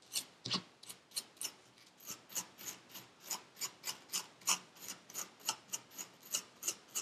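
A metal needle tool scrapes grooves into purple kinetic sand packed into a paper cup. About twenty short, bright, grainy rasps follow one another at an uneven pace, each quick and dry with almost no low end. The overall level is quiet.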